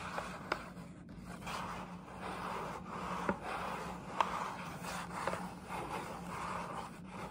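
Long nails scratch and rub across the side panel of a printed paper gift bag, close up. A steady papery scraping and rubbing hiss rises and falls, centered in the midrange, with five sharp ticks standing out from the rustle.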